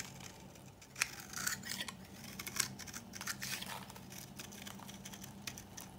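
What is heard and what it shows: A metal knife blade scrapes and shaves the surface of a palm-sized solid bar of old, dry pink soap held in one hand, crumbling it into flakes and powder. The sound is a bright, dry scratching made of many quick rasping strokes, with sharper peaks near 1 and 2.6 seconds over a faint low hum.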